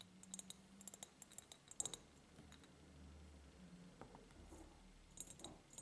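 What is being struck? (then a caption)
Ribbed clear glass jar. Long painted nails tap an empty, medium-sized, ribbed clear glass jar, first while it is tilted and then while it stands upright. About fifteen short, bright, clicky taps come in quick irregular bursts over a faint low hum. Each tap dies away almost instantly with no lasting ring.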